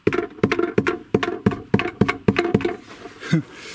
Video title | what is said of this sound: Просто ЖЕСТЬ пол года искал что стучит в машине, такого я точно не ожидал!!! | выяснилось что в этом коробе что-то лежит